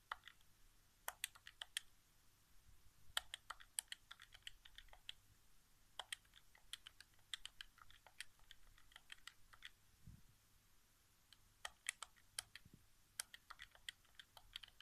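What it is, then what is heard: Plastic game controller buttons tapped. Fingertips tap rapidly on the face buttons of a hollow white plastic PS4 game controller resting on carpet. The result is quiet, dry, bright clicks in irregular bursts, each dying away almost instantly, with short pauses between flurries.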